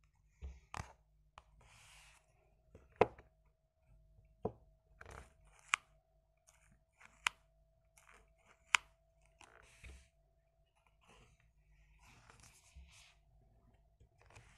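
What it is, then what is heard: Cardboard playing card box. Fingertips tap and handle a small Bicycle Vintage playing-card box made of printed cardboard, hollow and holding a deck, held in both hands above a light wooden desk. Five sharp, dry taps stand out with no ring, separated by quieter scratchy rustles and brushing of fingers over the cardboard.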